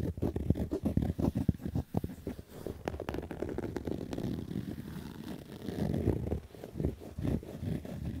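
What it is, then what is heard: Fabric baseball cap being scratched. Fingernails scratch the stitched brim of a black Adidas fabric baseball cap in quick, rough strokes. The sound is a dense, muffled, low-heavy rasping with no bright top. Choppy bursts give way to a steadier scratching in the middle, then quick strokes return near the end.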